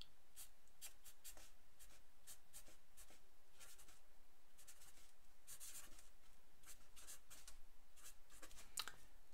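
A black felt-tip pen scratches across a single thin white sheet of paper lying flat on a wooden table, writing names while the other hand holds the sheet still. Quiet, bright, scratchy strokes come in short bursts over a low, steady background hum.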